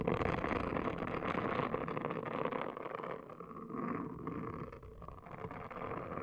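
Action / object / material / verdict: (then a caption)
scrape / silicone scalp brush scrubbed on a woven mat / silicone / none. A pink, palm-sized, hollow-domed silicone hair washing brush is scrubbed across a woven placemat by a hand with long nails, which also scratch the dome. The result is a dense, continuous scratchy rustle with a mid-range emphasis, dipping slightly in level partway through before picking back up.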